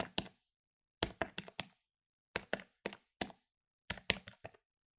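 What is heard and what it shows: Plastic keys on a medium-sized plastic electronic desktop calculator, lying on a wooden table, are pressed rapidly with fingertips and nails. Sharp, dry, bright clicks come in quick runs separated by short silences. Each tap dies away almost instantly with no ring.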